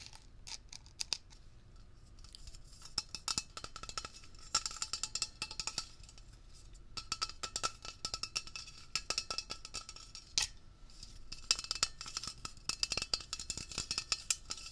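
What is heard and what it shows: Fingertips and nails quickly tap and scratch along a hand-sized Blue Coral upholstery cleaner aerosol can, a hollow tin/steel cylinder with a printed label. The result is a fast, continuous stream of bright, dry metallic clicks and raspy scratches, with a faint ringing tone humming underneath the taps.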